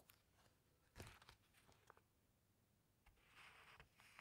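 Fingertips and nails rub and slide across the glossy photo pages of a large hardcover book. Quiet, dry crinkly rustles and brief papery ticks come and go, with a louder crisp swipe near the start and a sustained bright, hissing slide toward the end.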